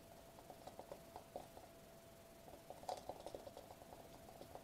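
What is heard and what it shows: Bare fingertips of both hands tap, press and rub across a thin sheet of metallic foil-laminated bubble wrap with hollow air bubbles, held upright against a table edge. Quiet, soft crinkly taps and short rustles come in a quick uneven stream, with a steady faint mid-pitched tone underneath. A brighter, louder flurry of taps arrives near the three-second mark.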